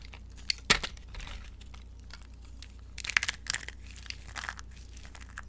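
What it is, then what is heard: Dry, brittle soap curls being crushed. Both hands with long nails squeeze and crush handfuls of dry green soap curls in a glass bowl, breaking them into small brittle fragments. Bright, dry crackling crunches come in irregular bursts, with sharp loud snaps early on and a cluster of crisp crunches midway, over a faint low steady hum.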